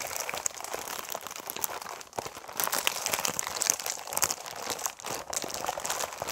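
A Dove six-bar soap multipack in a paper/film wrapper, full of solid bars, is held in both hands, squeezed and scratched with fingernails. The clip is dense, bright crinkling and crackling, mostly above 2 kHz, with many quick rustles running continuously for about six seconds.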